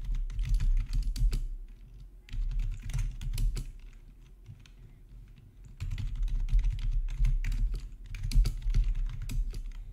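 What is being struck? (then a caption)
Plastic computer keyboard. Fingertips type on a full-size black plastic RGB backlit gaming keyboard with a hollow housing, resting on a marble surface. Short, dull key clacks come in fast, uneven bursts with a deep low thump beneath them. They pause twice for roughly two seconds before resuming.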